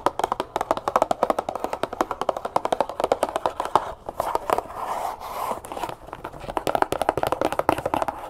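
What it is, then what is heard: Cardboard sugar box tapped with fingernails. Long fingernails tap rapidly on a small, hollow cardboard brown sugar box that seems to be filled with sugar, making fast, dry, clicky taps centered around 500 Hz to 1 kHz with almost no ring. Around the middle of the clip, the taps give way briefly to a softer, continuous rustling before the quick tapping resumes.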